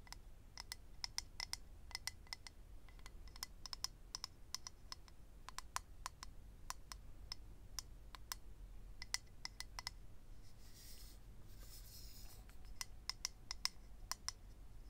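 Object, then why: Clear acrylic eyelash case. Fingernails tap quickly and irregularly on a small, hollow, rectangular clear acrylic eyelash case holding rows of lash strips, making dozens of sharp, dry clicks with a ringing tone near 2 kHz and bright overtones. Partway through, the tapping gives way to a soft, hissy scratching across the case before the clicking resumes, all at a quiet level over a low background rumble.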